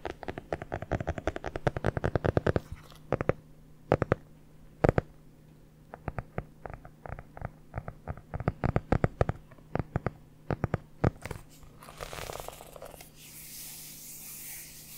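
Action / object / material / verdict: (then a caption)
tap / hardcover notebook with a board cover / cardboard / none. A red hardcover notebook with an elastic band is held in both hands and turned while long nails tap and scratch its cover and edges. Rapid bursts of short, dry taps come in uneven clusters with brief pauses between them. The clip ends in a soft, bright scratching hiss.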